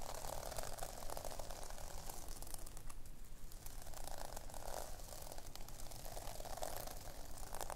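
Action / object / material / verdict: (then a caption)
scrape / sequin fabric notebook cover / sequins / none. A pink sequin-covered fabric notebook cover is scratched quickly by long nails that rake across the sequins. The result is a continuous, dense rustling, clicking texture with a recurring mid-pitched swell around 600 Hz and bright, crisp highs.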